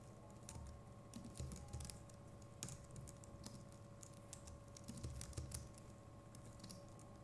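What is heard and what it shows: Fingertips of both hands type steadily on a compact Logitech MX Keys Mini keyboard with plastic keycaps. The result is a quiet, continuous patter of soft, low, thuddy keystrokes with short bright clicks on top, each dying away almost at once. A faint steady hum runs underneath throughout.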